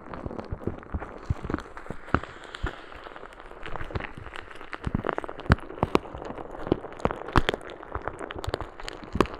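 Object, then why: Plastic bag of small beads. A clear plastic bag filled with small green beads is held in one hand beside a microphone and squeezed and shaken by fingers with long red nails. The result is a dense, steady crackle of many short, sharp clicks and pops over a soft low rustle, with a few louder snaps standing out.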